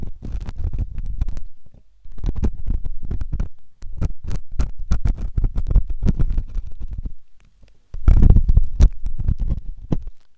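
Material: Silicone.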